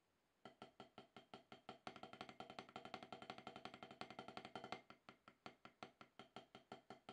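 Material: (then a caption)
Rubber. Two wooden drumsticks tap alternately on a solid, octagonal HQ rubber-top snare practice pad, with a player working back into form after more than ten years away. After a brief silence, evenly spaced taps speed up into a dense, faster run of strokes, then slow back to spaced taps. Each stroke is a short, dry, woody knock with a mid-pitched tone and a bright click.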